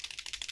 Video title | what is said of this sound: Arteza Acrylic Markers Review and Painting Rocks! | you're going to hear that ball bearing moving around in the paint